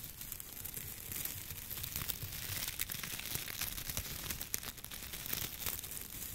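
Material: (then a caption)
Dry straw. Both hands rub, bend and crinkle a large hand-held bundle of dried wheat or grain stalks with their ears, held close to a microphone without touching it. A dense, bright, continuous crackling and rustling is heard, sprinkled with sharp little snaps and crunches.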